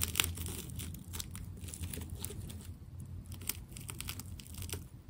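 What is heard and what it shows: A small metal scraper blade cuts into a white and purple plastic tape ball and peels its layers away. Sharp, bright crackling ticks and tearing snaps come over a steady low hum, with a louder crack near the start and another in the middle.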